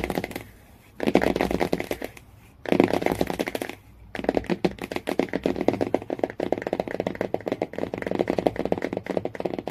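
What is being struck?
Laminated cardboard hardcover book cover.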